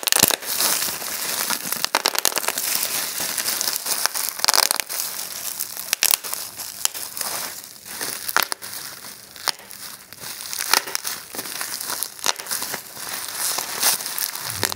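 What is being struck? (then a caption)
Plastic bubble wrap. Clear plastic bubble wrap is held and pinched between thumbs and fingers, then grabbed in one hand. Sharp, bright pops burst out in quick succession over a steady high crinkling of the plastic, with almost no low end.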